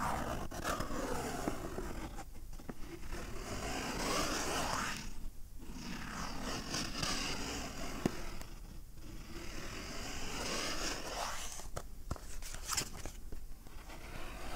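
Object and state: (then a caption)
Cardboard box scratched. A small, hollow, rectangular navy Tommy Hilfiger cardboard cologne box is held in one hand while fingertips and nails scratch and rub along its surface. The result is a steady, dry, papery scraping with sweeping strokes, broken by a few brief quieter pauses between passes.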